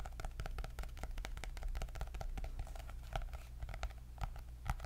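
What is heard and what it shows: Long nails tap and scratch a medium-sized, solid white hardcover paper notebook with a gold polka-dot cardboard cover. A steady stream of quick, dry clicks and scrapes rides over a constant low hum.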